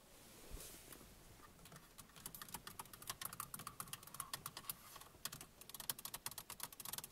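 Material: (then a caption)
Plastic. Long nails and fingertips of both hands tap rapidly on the hollow plastic buttons of a car's centre console radio panel. After a quiet first two seconds, a dense run of sharp, bright clicks and ticks follows, each dying away almost instantly, and the tapping grows quicker and louder toward the end.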